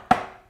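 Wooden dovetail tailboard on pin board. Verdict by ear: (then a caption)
Tight. A wooden dovetail tailboard is tapped onto its pin board during a dry fit, giving a single sharp knock with a brief tonal ring near 740 Hz that fades within half a second. The joint is too tight and won't go in, the tail corners are starting to break, and bruising shows where the boards rub.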